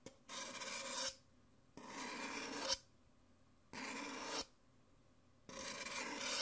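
Painted fingernails tap and scratch the outer wall of an empty, thin-walled white printed paper Nespresso cup held in one hand, and near the end a thin white stirrer scrapes inside it. Four long, bright, rasping scrapes are heard, each under a second long and separated by short quiet gaps.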